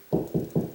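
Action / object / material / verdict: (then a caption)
knock / drywall ceiling / drywall / hollow. Four knocks on a drywall ceiling at a spot between joists, each giving a hollow, low, dull thud that dies away quickly. The knocking moves across the ceiling at a 16-inch spacing, and this spot sounds hollow because no joist is behind it.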